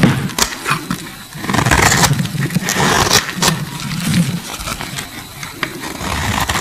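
A solid, translucent pink bar of soap held in the hand is carved and scraped with a metal utility blade, with shavings curling off. Rough, crunchy scraping strokes rise and fall, punctuated by sharp, bright clicks over a low rumbling undertone.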